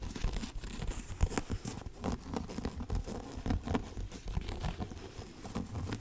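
Fingertips and nails tap a dark hardcover book with a cardboard cover as it is held up and moved around close by. The result is a quiet, steady, dull patter of short taps with soft scuffing, heavy in the low end and with little brightness.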